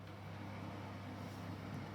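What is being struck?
Nothing is struck.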